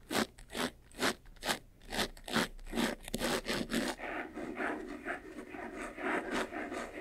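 Fingers scratch the sides and front of a closed, hollow, medium-sized white textured faux-leather jewelry box. About ten distinct, bright rasping strokes come in a steady rhythm over the first four seconds. The scratching then turns quicker, softer and more continuous, with a slight hollow body tone beneath the scrape.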